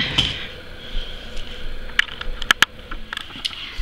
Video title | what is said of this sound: STEP BY STEP: Acrylic Application & 3D Flower | You can tap it and hear that the acrylic is making a good sound.